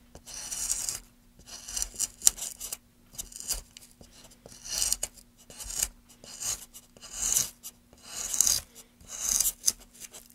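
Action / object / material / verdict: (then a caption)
scrape / wooden plank / wood / none. A metal gouge scrapes and cuts grooves into a solid light wooden board resting on a dark mat, held by gloved hands. Each stroke gives a dry, bright, rasp-like scratch, repeated in short bursts with brief pauses between them. A faint steady low hum runs underneath.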